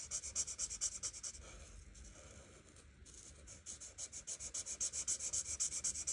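An art marker tip is rubbed and scratched back and forth over a flat paper coloring book page while coloring. Quick, bright, scratchy strokes repeat in a steady rhythm, fade into a softer continuous rubbing through the middle, then return as distinct strokes toward the end.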